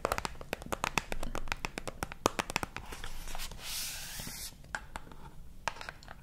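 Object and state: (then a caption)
Small cardboard box. A small printed cardboard box of Torriden sheet masks, likely hollow with mask packets inside, is held up close between two microphones and tapped and scratched with fingertips and nails. Quick, dry, hollow taps come in a busy run, then give way to a smoother, bright scratching rub in the middle before sparser taps return. Each tap dies out almost instantly with no ring.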